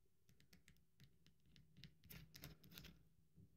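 Long nails repeatedly scratch and flick at the top edge of an upright, solid, cream-colored dry bar of soap, crumbling it. The result is a quiet, irregular run of short, dry, crisp scratches and ticks with bright crackle over a faint low rumble. The scratches grow denser and louder toward the middle of the clip.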